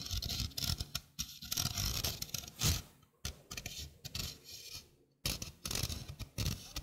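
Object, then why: Stainless steel mesh sink strainer. A small, hollow stainless steel mesh sink strainer is held in the hand while fingernails scratch and rub across its mesh. Dense, raspy scratching comes in uneven bursts, with a bright metallic hiss over a low, rough rumble. Short near-silent gaps break up the bursts.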